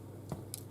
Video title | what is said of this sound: GREEK AND CYPRIOT VILLAGE BREAD “KOULOURI DAKTYLA” - STAVROS' KITCHEN - GREEK AND CYPRIOT CUISINE | if it sounds Hollow it means it's ready